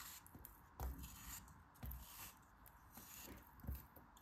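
A solid, dome-shaped pink kinetic sand block is held in the hand and sliced and scraped with a craft knife blade. Soft gritty scraping runs throughout, broken by a few muffled low thuds as the blade cuts through and chunks give way, with short crumbly, sandy bursts and little ring.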